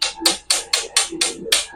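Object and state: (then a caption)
Petrified wood, stone-like rather than ordinary wood. A large piece of wood that has turned to stone, with crystallized areas, is tapped seven times. Each tap gives a sharp, bright click with almost no low end and a very short ring, not the sound of ordinary wood. The stone-like tone shows the wood is petrified.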